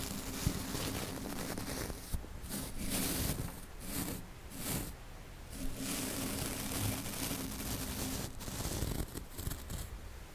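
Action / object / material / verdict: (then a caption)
scrape / woven steel mesh microphone grille brushed with a soft paintbrush / steel mesh / none. A small flat paintbrush with soft synthetic yellow bristles sweeps back and forth very close up across the bare, rounded, hollow woven steel mesh grille of a Blue Yeti USB microphone with no foam windshield. The result is a steady scratchy, rustling brush noise with a heavy low rumble and bright high hiss, rising and falling in bursts with a few sharper taps.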